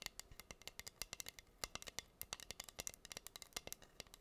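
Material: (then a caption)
Acrylic. Long green nails scratch and tap across a flat, solid wooden heart board covered in pink acrylic rhinestones. The result is a quiet, rapid stream of about 30 crisp, bright clicks and ticks, each dying away almost instantly, with very little low end.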